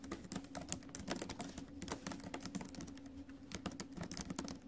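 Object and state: Laptop keyboard being typed on.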